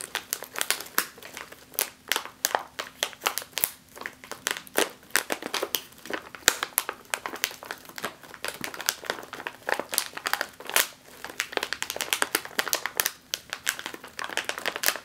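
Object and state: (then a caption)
Foil snack chip bag crinkled. A sealed, metallized foil snack chip bag is pressed and scratched with long nails, producing a dense run of sharp, bright crinkles and crackles. The crunchy bursts come rapidly and unevenly across the whole clip, each one short and dry, with almost no low end.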